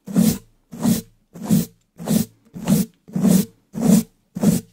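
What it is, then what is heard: Bristle brush on a metal mesh microphone grille. A round wooden-handled brush with pale natural bristles, held in a black-gloved hand, scratches and brushes across the hollow black metal mesh grille of a large condenser microphone. Eight separate, evenly spaced strokes sound about every 0.6 seconds. Each is a rough, bristly swish with a full low body near 200 Hz and a hissy top, fading to silence between strokes.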